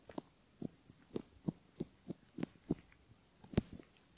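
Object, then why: Silicone ear model with a bamboo ear pick. A bamboo ear pick scratches along the folds of a silicone ear model and near its canal, where a metal mic capsule sits, while fingertips steady the mold. About a dozen soft, separate scrapes are heard, each a short, muffled, low thump with a faint bright edge. They fall over quiet near-silence.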